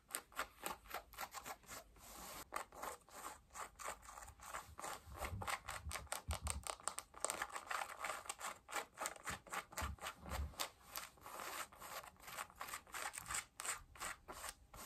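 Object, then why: Cotton denim jeans. Long nails scratch the side, front and pocket fabric of worn blue cotton denim jeans. About forty quick, dry scratching strokes follow one another in a steady rhythm. Each is a bright, rasping brush of fabric with a faint low thump under a few of them.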